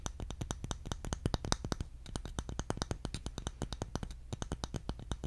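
A round, palm-sized bamboo jar lid, held with its raised-rim underside showing, is tapped quickly with the fingertips. About forty short, dry taps run steadily, each a soft low thump with a faint bright click and almost no ring.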